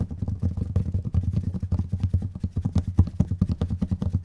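Long nails tap fast on the plastic lids of two identical small, round, clear plastic dome jars with strawberry labels and red contents, held one in each hand. About thirty quick, uneven taps come out as dull, hollow, low thuds that stop almost instantly.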